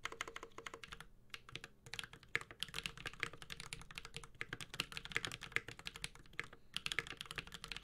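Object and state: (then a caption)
Mechanical keyboard being typed on. A 65% mechanical keyboard with a metal case, Holy Panda switches and ABS plastic keycaps is typed on continuously with the fingertips of both hands. Dense, fast clacks come with bright, short-decaying tactile clicks. There are a few brief pauses between bursts.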